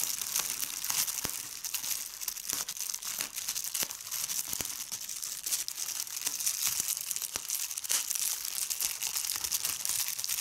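Clear plastic bubble wrap with large air bubbles is pressed between fingers with red nails, popping the bubbles. Bright, dense crinkling runs throughout, broken by many sharp, short pops with almost no low end.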